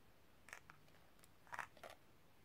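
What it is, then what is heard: Metal cigarette case tapped with nails. Long nails tap the inside of a small, hollow, empty silver metal cigarette case held open, and click its spring clip and hinge. Quiet, short, bright clicks and ticks come in scattered bursts over a faint hiss, with a mid-high tone near 1.7 kHz. Each tap dies away almost instantly with no ring.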